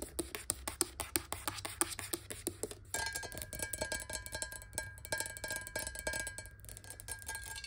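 Long nails tap rapidly on the sides of a clear, hollow square glass water bottle holding a little water, standing close to the camera. The dry, clicky taps carry a short hollow tone near 355 Hz over a steady low hum. After about three seconds the tapping grows denser and brighter, with a faint ringing tone around 1.6 kHz.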